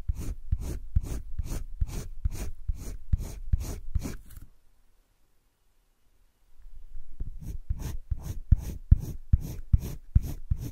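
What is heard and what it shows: A green colored pencil rubs quick back-and-forth shading strokes along the edge of a heart drawn on flat cream drawing paper in a wire-bound spiral sketchbook. The scratchy strokes come in a steady, rapid rhythm with a soft, low-heavy body and faint bright hiss. They stop for about two seconds of near silence, then start again at the same pace.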